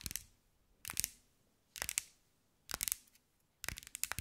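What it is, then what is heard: Glass mosaic ball. A hand-sized, round, likely hollow ball covered in small green mirror glass mosaic tiles is tapped and scratched with long white nails. Five quick bursts of bright, crisp clicking and scraping ring out, each fading almost instantly into near silence.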